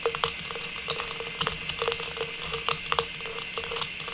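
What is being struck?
Metallized plastic star tree topper.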